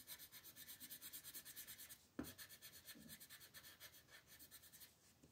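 An orange wooden colored pencil shades the petals in the center of a flat printed paper coloring sheet resting on a table, making quick, steady, bright scratchy rubbing strokes. A single sharp tap breaks in about two seconds in, after a brief pause, and then the rhythmic rubbing resumes and gradually softens.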